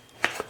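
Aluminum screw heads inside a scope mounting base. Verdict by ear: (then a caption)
Loose. A thermal scope with its Picatinny base still attached is shaken, rattling the loose leftover aluminum screw heads inside the base. Two sharp, bright clicks of metal bits knocking against each other are heard. The mounting screws sheared in half under recoil from a Beretta A300 Ultima Patrol shotgun, letting the scope come off the receiver.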